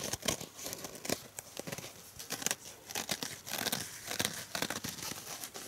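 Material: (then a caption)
Foam. A purple rectangular foam kitchen sponge is held in the hand while fingertips and nails scratch and squeeze its surface. The result is a dense, bright, crackling and crinkling texture of short scratchy bursts with little low end, rising and falling in loudness throughout.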